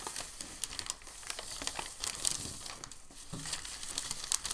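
A large, thin, crinkled sheet of white packing paper is folded over and flattened by hand on a table. It gives a steady, bright crinkling with quick sharp crackles and sudden high snaps scattered throughout.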